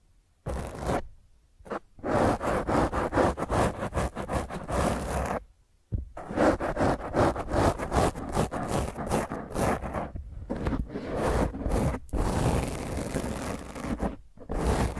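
Long fingernails scratch a black foam microphone windscreen, first with one hand and then with both. The result is rough, dense, crackling scrapes with a heavy low rumble, running in fast, irregular bursts broken by short silent pauses.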